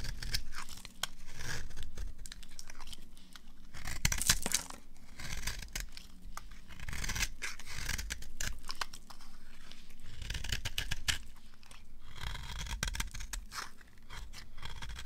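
A knife blade scrapes along the edge of a solid, dry beige bar of soap held in the hand, shaving off crumbly flakes. The result is a continuous dry, crackling scrape with bright, crisp bursts of tearing and crunching texture over a low rumble, swelling and easing in waves throughout.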